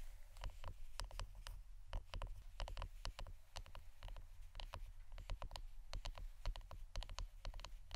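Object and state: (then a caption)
Wooden incense holder, tapped. Fingernails tap on the wooden part of an incense stick holder, producing a quick, steady run of short, dry clicky taps. Each tap is a brief broadband click that dies away almost instantly over a constant low rumble.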